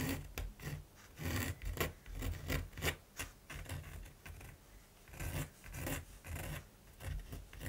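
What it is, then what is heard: Primed canvas. A mechanical pencil tip scratches rapid strokes across the textured surface of a large, flat primed canvas while drawing a raven. Dry, rasping scratches come in quick bursts with brief pauses between them, carrying a dull low body under a bright, gritty edge.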